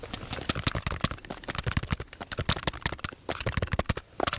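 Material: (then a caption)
Wood. A small bundle of light, solid wooden sticks or slats held in both hands is tapped and rubbed with fingertips and nails. The result is a quick, uneven run of short, dry wooden clicks and knocks, each with a low thump and a bright crackle, that stops almost instantly, with brief rubbing scrapes between them.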